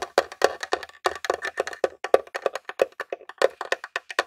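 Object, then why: Plastic game console casing. Several fingertips and short nails tap rapidly on the top of a grey plastic Nintendo mini console, a hollow box. About thirty quick, dry, hollow clicks ring out, each dying almost instantly, with a woody tone centred around 527 Hz.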